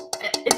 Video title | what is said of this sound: 4S1S - 4Sellers1Sale - 6/18 | it sounds like metal but of course it's not metal